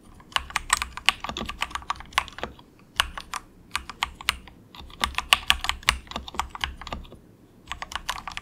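A very cheap, compact 68-key plastic mechanical keyboard with a hollow case, resting on a desk mat, is typed on softly with the fingertips of both hands. Bright, short clacking keystrokes come in quick bursts, separated by brief pauses, with a faint low thump under each key press.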